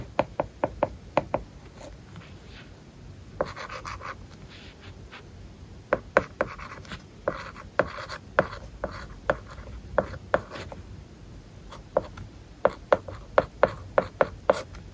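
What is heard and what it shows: A stylus tip writes on an iPad glass screen covered with a matte, paper-like plastic film, making a quick series of short, dry taps with no ring. Between the taps come soft scratchy strokes and brief brighter rasps, giving a steady pattern of writing on a film-coated tablet.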